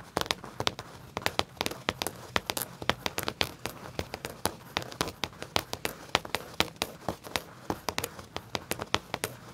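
Fingertips with short nails tap and scratch the back pocket of black leather pants laid flat, a pocket that carries a metal tag. Dozens of quick, dry, bright clicks sound at an uneven pace, with very short decay, over a soft, continuous crinkling scratch.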